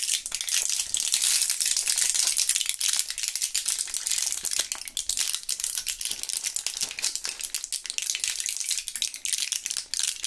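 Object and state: Plastic and foil gum blister pack rattling.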